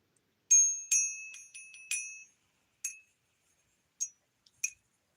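A silver coin or round is pinged six times in a ping test, each strike giving a bright, high-pitched metallic ring that decays in under a second. The clear, sustained tone sounds like real silver.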